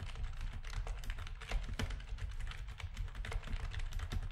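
Rapid key presses on a full-size black plastic backlit RGB gaming keyboard with a hollow housing, typed with the fingertips of both hands. The result is a steady stream of quick, clacky taps with a strong low, hollow thump beneath brief bright clicks.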